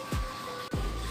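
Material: Nothing is struck.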